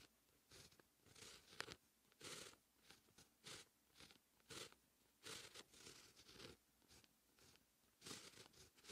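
A dark fine-tip pen held in the fingertips writes Korean text on a flat sheet of white lined writing paper resting on a hard surface. Short, bright bursts of pen-on-paper scratching come in quick strokes separated by brief pauses, with almost no low end.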